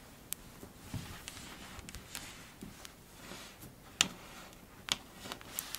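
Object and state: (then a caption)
Kinetic sand being pressed and scratched. A mound of pink kinetic sand is cut into, then pressed and scratched with long blue-tipped nails and fingertips. Soft, crunchy scratching and rustling runs throughout, broken by sharp, bright, irregular clicks that stop almost instantly. The sound is quiet and mostly high-pitched, with little low end.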